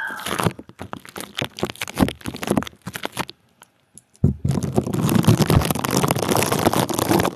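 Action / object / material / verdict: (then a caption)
scrape / plastic bubble wrap sleeve / plastic / none. A clear plastic bubble wrap sleeve wrapped around the top of a microphone is squeezed and scrunched with the fingertips of both hands. Close, dry crinkling and crackling comes in rapid uneven bursts, then stops for a brief near-silent pause. It resumes as a denser, steady scrunching that runs to the end.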